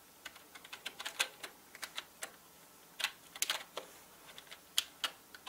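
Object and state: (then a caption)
Plastic mechanical keyboard. Fingertips of both hands type slowly on a full-size black plastic mechanical gaming keyboard with plastic keycaps. Nineteen short, bright, clicky clacks land in an uneven rhythm, some in quick pairs, each dying away almost instantly with no low-end thump.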